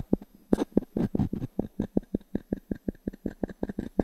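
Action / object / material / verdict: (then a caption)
tap / pine log-slice coaster tapped with a small wooden cube / pine wood / none. A small wooden cube is rubbed and tapped with the fingertips on a solid, round natural pine log-slice coaster held in the palm. The result is a steady run of short, dry, woody knocks with a low-mid body. Brief scraping rubs are mixed in, and each knock dies away almost instantly.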